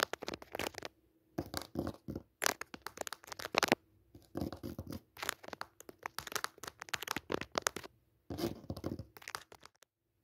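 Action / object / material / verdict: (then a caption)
scrape / thin cotton cutwork tablecloth on a hard surface / cotton / none. Long nails scratch and tap across a thin white cutwork cotton tablecloth resting on a hard surface. Dry, crinkly scratching comes in quick bursts separated by brief silences, with bright, papery texture and sharp tapping accents.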